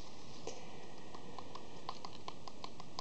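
A standard-size hollow plastic DVD box set case with a glossy printed sleeve is held upright while its front and edges are tapped rapidly with long fingernails. The result is a quick string of light, clicky taps with a hollow tone around 1 kHz over a steady low background hiss.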